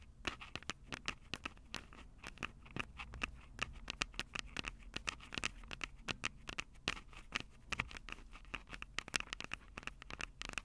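Long acrylic nails tap the metal mic grilles over the capsules of a Tascam DR-05 handheld recorder with a plastic body, in a quick, pattering rhythm. Each tap is a sharp, bright click that dies away almost instantly, with a steady resonance near 2.7 kHz and a soft low rumble underneath.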